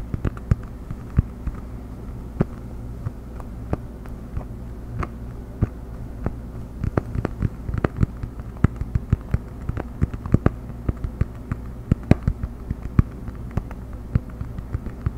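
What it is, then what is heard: Cork coaster. A round cork coaster is held edge-up in both hands and tapped and scratched with the fingertips and nails. Dozens of short, dry clicks land at an irregular pace, some with a faint bright tick, over a steady low hum and soft scratching texture. Each tap dies away almost instantly.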